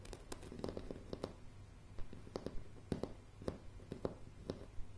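Fingernail tips of both hands tap and scratch on a solid floor of light pine floorboards. Quiet, short, dry clicks come at an uneven pace over a low, steady hum, with soft scratching between the taps.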